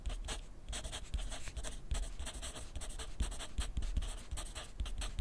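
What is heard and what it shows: A wooden graphite pencil writes continuously on a sheet of lined paper clipped to a flat clipboard on a wooden desk. The tip gives a steady, soft, bright scratching in quick strokes, with dull low bumps underneath. The sound stays quiet and even throughout.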